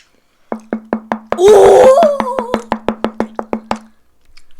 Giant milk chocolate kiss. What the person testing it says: You can hear it's hollow, and it's ouchy.